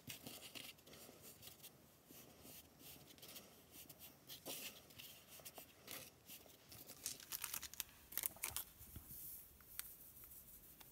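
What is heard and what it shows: A palm-sized, solid lump of purple kinetic sand is pressed, rubbed and scraped across yellow paper with the fingertips and hands. It makes soft, bright, gritty scratching and papery rustling, with sharper crackly bursts near the end.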